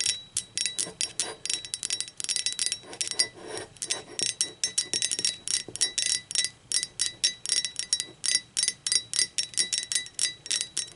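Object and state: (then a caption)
Ceramic mug tapped with fingernails. Long acrylic nails tap the body of an empty, hollow, speckled teal ceramic mug, first lying on its side and then standing upright. The result is a rapid, uneven series of bright, clicky taps with a thin high ceramic ring that dies away almost instantly after each tap.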